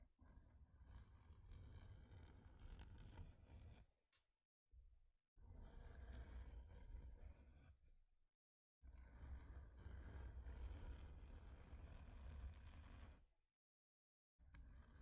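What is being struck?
Thin flat wooden plaque.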